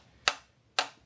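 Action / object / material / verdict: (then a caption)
tap / carbon fiber bicycle frame tube / carbon fiber / cracked. Two light taps with a metal object on a fractured tube of a carbon fiber bicycle frame damaged in a serious crash. Each tap is a short, dull, reedy click that dies away almost at once rather than ringing clearly, showing the tube is cracked and the frame is no longer usable.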